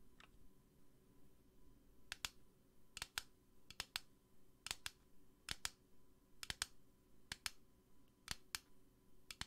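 Long nails tap a small, hollow pink plastic bunny lamp on a black base, making about twenty sharp, bright clicks. The clicks come mostly in quick pairs and triples, separated by short pauses. Each tap is dry and dies away almost instantly against a quiet background.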